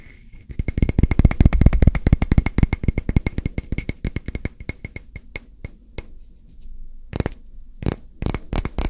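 A solid, round, palm-sized wooden coaster with a grooved surface is held in the hands and tapped and scratched with fingertips and short nails. Quick, dull, low-heavy taps come in a dense, uneven flurry at first, then thin out into sparser taps and brief scratchy bursts with a bright edge.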